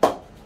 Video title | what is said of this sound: Gray Nicolls Blue MAAX HS cricket bat review - Its a beast of a bat | ये बैट बहुत अच्छा परफॉर्म कर रहा है from a ping test perspective on an old cricket ball.